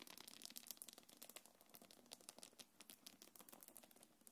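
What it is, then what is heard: Faux-leather bag with metal chain, scratched and rubbed. Long nails scratch and rub the quilted surface and gold metal chains of a small black quilted faux-leather belt bag. The result is a quiet, rapid run of bright, crisp scratches and tiny metallic clicks with very little low end.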